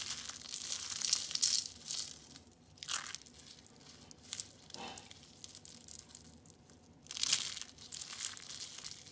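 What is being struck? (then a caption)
Soap curls. Orange and green rolled dried soap curls are squeezed and crushed in a fist, giving off bright, dry crunching and crinkling crackles. The crushing comes in bursts: a long one at the start, shorter squeezes in the middle, and another strong crunch near the end, with quieter rustling between.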